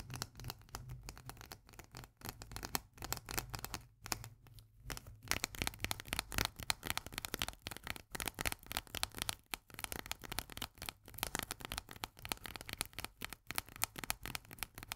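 Long manicured nails rapidly tap and scratch the flat pull-tab lid of a full, unopened tinplate can of corn held upright. Dense, quick, bright clicks and scratchy strokes come at a low level, with each tap dying away instantly with no ring. There is a brief sparser pause around four to five seconds.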